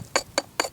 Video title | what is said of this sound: Llano Del Rio | Definitely sounds like ceramic. And it's a layered ceramic.